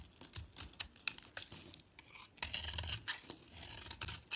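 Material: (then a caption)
Soap. A metal box-cutter blade shaves and scrapes a solid, hand-sized bar of soap held in the hand; the bar has a purple polka-dot coating and a white core. Quick, bright scraping strokes with crisp, crackly shaving textures come in a rapid series of short bursts with little low end.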